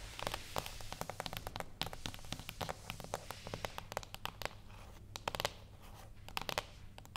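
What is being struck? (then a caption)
Small cardboard box tapped with fingernails. Long acrylic nails on both hands tap in rhythm on a small, flat, closed cardboard gift box with a Birthday Suit label, lying on a wooden table. The taps are quick, dry, bright clicks with a crackly, papery edge, each dying away almost at once, over a faint steady low hum.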